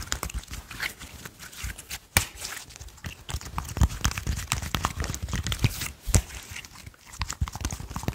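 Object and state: Soft slime being pressed.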